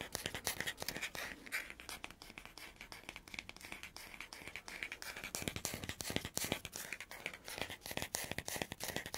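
Fingernails scratch and tap the wooden back and natural bristle face of a hand-sized oval wooden dry body brush with a fabric strap. The result is a dense, rapid stream of crisp, bright scratching and short, dry ticking taps with very little low end. The taps stop almost instantly with no ring.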